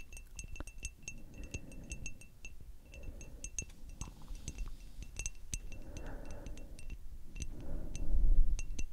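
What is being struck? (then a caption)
Small glass perfume bottle with metal cap. Long acrylic nails on both hands tap a small rectangular frosted glass perfume bottle with a metal spray cap. The taps make rapid, uneven, bright glassy clinks, each with a short high ring. A soft low rustle runs underneath and swells slightly louder near the end.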